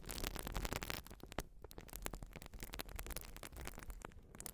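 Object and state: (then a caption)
Urethane foam sponge scratched. Long nails scratch a white urethane foam sponge, making a dense run of dry, crackling scrapes and rustles. Bright bursts sit over a steady low hum, and the scratching continues without pause for the whole clip.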